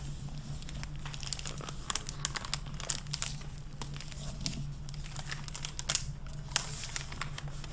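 A hardcover library book with a crinkly clear plastic (mylar) protective jacket over a dark dust cover, with purple endpapers, is held upright, opened and handled with long painted fingernails and fingertips that crinkle and rub the plastic. Bright, sharp crinkles and short taps come in irregular bursts over a steady low hum, with possible soft paper sounds from page handling.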